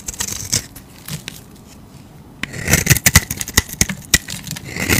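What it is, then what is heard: Soap bar carved with a knife. A utility knife blade shaves curls off a solid striped soap bar held in the hand. Short, bright scraping strokes with a crisp, crackly edge come sparse and quiet at first, then follow in a quicker, denser run of carving strokes in the second half.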